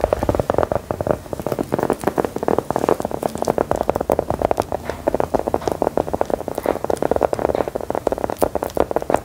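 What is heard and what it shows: A small, solid, brown round biscuit stamped with lettering is tapped and scratched with long gold metal filigree nail claws. The result is a steady stream of rapid, dry, crackly clicks and scrapes, centered in the midrange around 590 Hz. Each tap is short, with no ringing.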